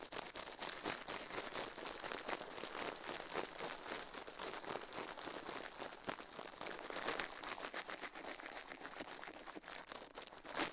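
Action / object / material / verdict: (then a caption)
scrape / silicone ear on a binaural microphone / silicone / none. Toothbrush bristles scrub fast over the soft silicone left ear of a binaural microphone mounted on a metal plate, while the other gloved hand stays still. The result is a steady, dense scratching and crinkling hiss, bright and airy with almost no low end, its rapid strokes blurring into one continuous texture.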